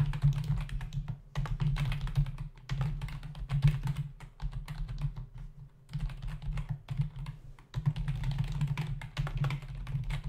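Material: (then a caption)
Plastic. Both hands type with their fingertips on a black plastic membrane computer keyboard resting on a desk; it has a hollow body and plastic keys. Fast, dense runs of dull, low clacks and thuds land around 148 Hz with short, dry decays. Brief pauses break up the bursts of typing.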